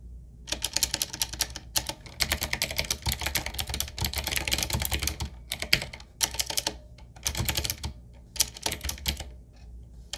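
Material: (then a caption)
Plastic. Fingertips of both hands type on a 7Keys full-size, typewriter-style retro mechanical keyboard with a solid body, round plastic keycaps on a dark metal plate, and a wooden-looking frame. Rapid bursts of bright, clicky keystrokes come in short runs separated by brief pauses, with a low thump under each press. The keys snap quickly with almost no ring.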